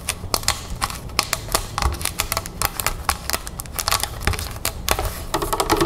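Long red fingernails of both hands tap rapidly on the label and upper plastic of a large, clear plastic club soda bottle full of sparkling water, standing on a table. About thirty quick, sharp, clicky taps with a bright edge and almost no ring follow one another in an uneven, fast rhythm. Toward the end, the sound turns denser and more continuous.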